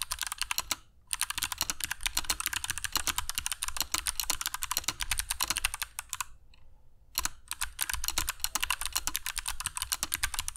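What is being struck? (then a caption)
Mechanical keyboard with plastic keycaps. A compact black mechanical keyboard with dark PBT plastic keycaps and Kailh Box Jade switches, resting on a cork desk mat, is typed on continuously with the fingertips of both hands. Bright, crisp clicks come in rapid bursts, with brief pauses near the start and around the six-to-seven-second mark, and each click dies away almost instantly.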